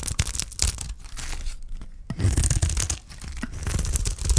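A utility knife blade scrapes and shaves curls off a solid block of dry green soap held in the hand. Repeated rough, crisp scraping strokes come in quick bursts with bright edges over a heavy low rumble, with brief pauses between passes.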